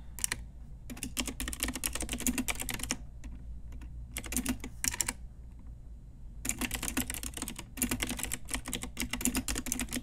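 A full-size pink Ajazz typewriter-style retro mechanical keyboard, with round plastic keycaps on a hollow plastic case, is typed on with long nails and fingertips. Bursts of rapid, bright, clacky key taps come in runs, with short pauses, over a steady low hum.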